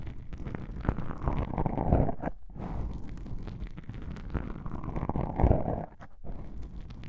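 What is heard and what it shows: Long pink nails scratch black foam microphone windscreens, producing a dense, muffled, low rumbling crackle. The scratching swells louder around two seconds and again near five and a half seconds, with brief quiet gaps just after each swell.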